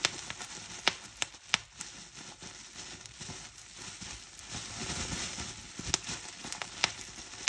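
Clear plastic bubble wrap is squeezed and crumpled in both hands, giving a steady bright crinkling and rustling. Sharp, high pops from its hollow air cells bursting cut through the crinkle at scattered moments.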